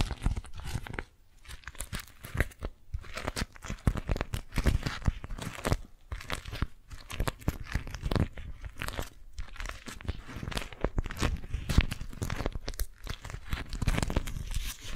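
A beeswax-coated cotton food wrap with an orange print, balled up and squeezed, is crinkled with fingertips and long nails. The result is a dense, continuous run of dry crunching and crackling bursts with brief pauses. The sound is weighted heavily toward low thumps, with crisp, short snaps that die away instantly.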